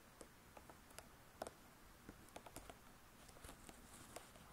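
Long nail tips tap and scratch the laminated board cover of a closed spiral-bound hardcover cookbook. About ten quiet, sharp clicks with bright ticks stand out over a soft, steady scratching hiss, each tap stopping dead with no ring.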